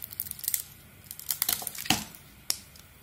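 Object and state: Bar of soap being shaved.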